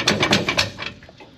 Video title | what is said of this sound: Biscayne is BACK!!! Gas Tank Finally Gets Changed! | whenever I shake it it sounds like sand is in there